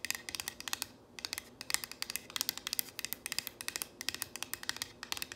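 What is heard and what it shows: Long nails and fingertips tap and scratch quickly across a solid painted wooden plank sign reading "If MaMa ain't happy." The result is a rapid, uneven stream of dry, bright clicks and short scratches, with brief pauses between clusters. Each sound dies away almost instantly, with almost no low end.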